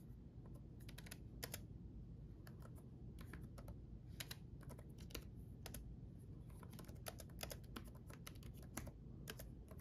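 Both hands type with their fingertips on a red-backlit laptop keyboard with plastic chiclet keys. The result is a quiet, irregular stream of short, bright key clicks over a steady low rumble.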